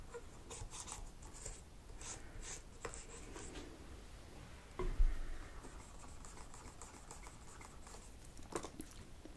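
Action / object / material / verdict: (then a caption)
scrape / plastic laptop keyboard keys scraped with a cotton swab / plastic / none. A cotton swab is scraped between the black plastic keys of a laptop keyboard. Soft, scratchy rubbing and light ticks run steadily over a low background rumble. A louder knock comes about halfway through and a smaller one near the end.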